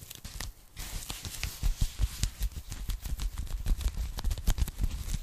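A thin, flat, hollow pink foam packing sleeve is held in both hands and tapped and scratched with long nails. The result is an irregular run of soft, dull, low thumps with short, crisp scratching and crackling in between, and the taps die away almost instantly.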